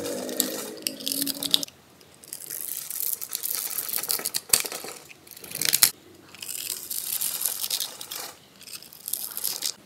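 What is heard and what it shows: A small metal blade scrapes and cuts into the scored surface of a solid, palm-sized oval pink bar of soap held in one hand, crumbling small cubes and flakes onto a dark table. Dry, bright crunching and crisp scraping come in several bursts separated by short quiet pauses.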